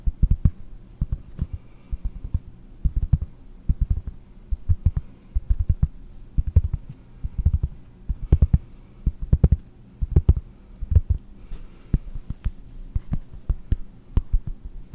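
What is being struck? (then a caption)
Flat round cork disc. A round, flat, solid cork disc is held in front of the microphone and tapped with fingertips and nails. The result is a steady run of soft, dull, low thumps in quick clusters, each one dying away almost at once, with faint brighter clicks from the nails over a low hum.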